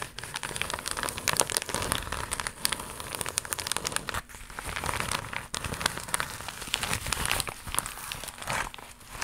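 An empty, flat, iridescent embossed holographic plastic mailer pouch is flexed and scratched with long nails. It makes dense, bright, crackling crinkles with sharp scratchy bursts and brief quieter dips throughout.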